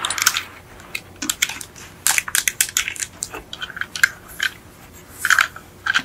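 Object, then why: Plastic underside of a toy car. Long acrylic nails tap and scratch the black ribbed plastic underside of a yellow die-cast Beetle model lying upside down, with metal axles. Many sharp, bright clicks and dry scratchy rasps come in irregular bursts, each dying away almost instantly, with a faint ringing tick near 1.6 kHz and almost no low end.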